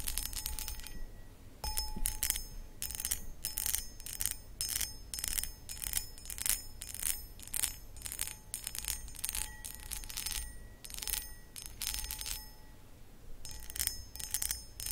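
Long acrylic nails scratch the textured sides of a medium, hollow, empty cut crystal glass footed pedestal bowl. The clip is a dense run of quick, bright, raspy strokes, with short glassy ringing tones that fade almost at once, over a low, steady rumble.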